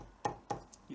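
A new tabla skin placed on the wooden drum shell is knocked at the edge with a tabla hammer, giving three short, dry, woody knocks with a midrange tone around 840 Hz that die away almost at once. The wood is heard through the knock, showing the skin sits down onto the wooden rim as a perfect fit.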